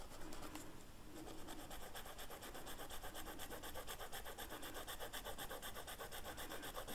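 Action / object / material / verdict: scrape / felt-tip marker on flocked velvet paper / velvet flock / none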